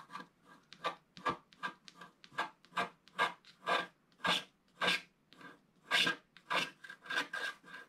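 A wooden stylus scrapes small areas along the bottom of a flat, coated scratch-art paper sheet. The result is a quick, uneven run of short, dry rasping strokes, bright and hissy with almost no low end, each fading quickly.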